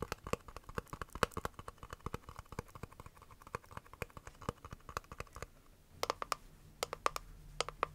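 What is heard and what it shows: A small, square, clear hard-plastic case holding press-on nails is held in both hands while long nails tap and scratch its lid and sides. Rapid, dry plastic clicks with a bright edge come in a quick, uneven stream, along with light scratching. After a short lull near the middle, sparser taps continue over a faint low hum.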